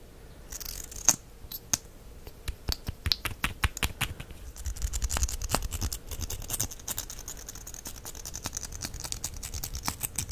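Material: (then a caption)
Plastic. A small plastic mascara tube with a copper-colored finish has its wand cap pulled out and pushed back in by hand. The result is a quick run of sharp, bright clicks and dry scraping over a low rumble, with each click dying away almost at once.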